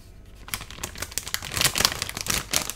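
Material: Metallized plastic.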